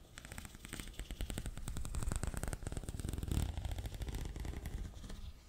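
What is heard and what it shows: Fingers scratch and rub along the ridges of a hollow, ribbed pink corrugated plastic tube held upright in one hand. The result is a fast, steady stream of dry clicking ticks with a heavy low-end rumble and faint bright edges, lasting the whole clip.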